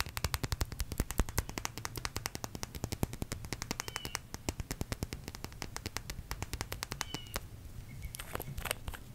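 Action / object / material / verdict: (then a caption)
tap / small glass nail polish bottle / glass / none. Long red acrylic nails rapidly tap a small red glass nail polish bottle with a black plastic cap, held in one hand. The result is a dense stream of sharp, bright clicks with almost no ring, over a low background hum. The tapping thins out near the end, leaving a few scattered, higher clicks.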